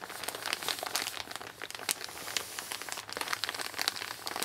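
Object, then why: Kraft paper mailer bag. An empty Amazon kraft-paper mailer bag lies flat on a wooden table, rubbed and crinkled by both hands with long nails. The result is a dense, continuous run of dry, bright crinkles and crackles with no low end and almost no ring.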